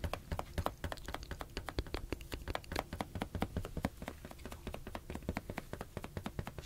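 A blue, hollow, air-filled inflated latex balloon is held in one hand and tapped with the fingertips while being moved between two microphones. The result is a rapid, uneven run of soft, hollow taps, each a dull low thump with a brief mid-pitched pop near 555 Hz that dies away almost instantly.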